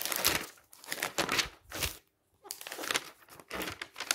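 Fingertips flip the pages of a thick glossy paper magazine lying open on a stack and smooth them flat. Bright, crisp crinkling and rustling bursts come in quick succession, with a brief full silence midway. Each page turn ends in a short sliding swipe.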